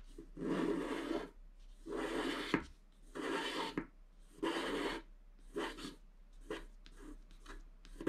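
A wooden stylus scratches the black coating of a scratch-art paper page near its top edge. Broadband, dry rasping strokes come in uneven bursts: several long scratches first, then shorter, quicker scrapes with quiet gaps between them.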